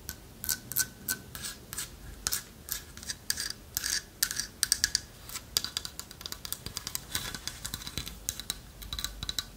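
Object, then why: Carved wooden owl figurine. Long nails tap and scratch over a hand-carved, partly hollow owl figurine of light wood with a lattice-cut body. Dozens of quick, dry, bright clicks and raspy scrapes sit mostly in the high frequencies, each dying away almost instantly with no ring.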